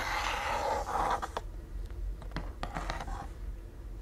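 A large, round, flat wooden rain drum with a slotted top and a hollow body full of loose beads is held in both hands and tilted and turned, while fingertips also brush the top. For about the first second and a half, the rolling beads make a broad, hissing wash like rushing rain. It then thins into scattered sharp, bright clicks and taps over a low, steady rumble.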